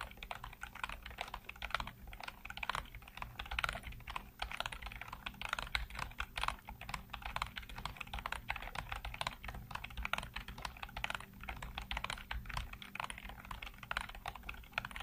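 Fingertips type rapidly across a full-size black plastic computer keyboard with hollow keycaps, producing a steady stream of light, clicky taps. The keystrokes blur into a continuous patter over a faint low hum, with each tap dying away almost instantly.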